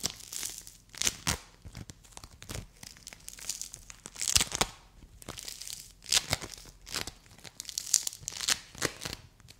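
A palm-sized purple dome of play foam made of small polystyrene beads, solid and soft, is scratched, squeezed and pulled apart by long white nails and fingertips. It gives repeated bursts of bright, crisp crackling and tearing, with sharp clicks that stop dead with no ring. There is almost no low end.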